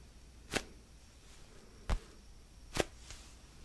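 Fingertips tap on the surface of a palm-sized, solid orange basketball-style foam stress ball. Four short, dry, bright taps come at uneven intervals, the last one faint, each dying away almost at once. A low, steady hiss fills the quiet between them.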